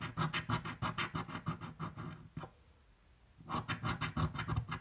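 A coin scratches the coating off a thin green card scratch-off lottery ticket lying on a table, in quick repeated strokes of about three per second. About 22 rough, raspy scrapes are heard, with a brief quiet pause in the middle before the strokes resume.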